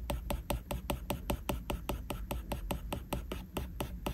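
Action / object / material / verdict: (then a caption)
tap / glass tablet screen with plastic stylus tip / glass / none. A plastic Apple Pencil tip rubs rapidly back and forth across a flat glass iPad screen, making a steady run of about twenty short, dry tapping strokes with a faint scratchy brightness. A low hum sits underneath throughout.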